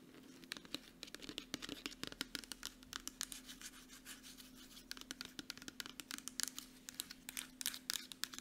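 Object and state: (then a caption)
Plastic squeeze tube. Long nails rapidly tap and scratch the flattened, crimped end of a Jergens plastic lotion tube. The result is a quiet, dense stream of short, bright, crisp clicks and scratchy rubs with almost no ring, over a faint steady low hum.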